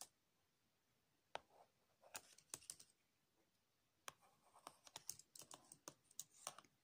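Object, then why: Plastic laptop keyboard keys. A latex-gloved hand taps and rubs the keys of a black MacBook's plastic keyboard, with its hollow body, using the tip of a green wax crayon. Quiet, sharp, bright clicks come in uneven bursts, with soft scratchy rubbing between them and a pause in the middle.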